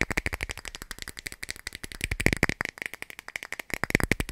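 A clear plastic cap is tapped rapidly for about four seconds, giving roughly 30 dry, short clicks in a fast, uneven stream. Each tap is crisp with a strong tone around 2 kHz, a bright top and almost no ring, producing a light, rattly clatter.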